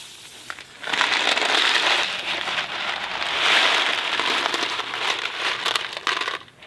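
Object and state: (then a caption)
Cardboard box of dry macaroni. A small Kraft mac and cheese cardboard box filled with dry pasta is scratched and tapped with fingertips and tilted so the pasta shifts inside. A dense, bright rattling hiss of pasta sliding against cardboard swells and fades, with scattered sharp clicks and crinkly crackles on top. The sound thins out and goes quiet at the end.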